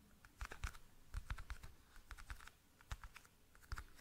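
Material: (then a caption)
Plastic. A small, hollow, rectangular clear plastic toothpick case is held in both hands close to the mic while fingertips and nails tap and click on its sides and lid. The result is a quiet, irregular patter of short, dry clicks with soft low thumps and almost no ring.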